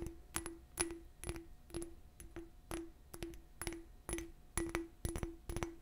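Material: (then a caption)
Glass. A small, clear, empty glass bottle with a raised bumpy pattern is tapped and scratched with long nails. Quick, irregular clicking taps each carry a brief, low glassy ring around 340 Hz. Bursts of scratchy texture fill the gaps between the taps.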